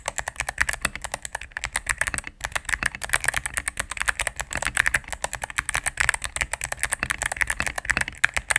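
A mechanical keyboard with all-cream plastic keycaps and a knob, resting on a desk mat, is typed on rapidly with fingertips and long nails. The result is a fast, steady stream of short, crisp clacks with a bright click on top and almost no ring after each press.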